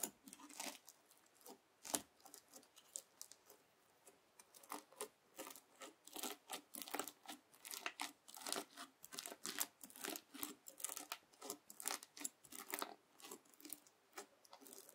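A white plastic fork held in the fingers scrapes and presses into a palm-sized blob of red translucent bead slime (floam), soft and solid and packed with small plastic beads, lying flat on a white table. It makes a quiet, steady stream of short, crisp, crunchy scratches with a bright, hissy top and almost no low end. Each crunch dies away almost instantly.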